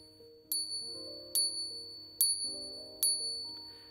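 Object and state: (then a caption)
Real silver coin. A real silver coin laid down is pinged four times with another coin, each tap giving a pure, high-pitched ringing note that fades within about a third of a second, over quiet background music. The clear, bell-like ring marks the coin as real silver.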